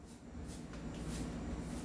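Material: Nothing is struck.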